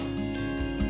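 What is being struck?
Nothing is struck.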